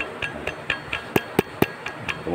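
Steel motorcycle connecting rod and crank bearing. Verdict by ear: Loose.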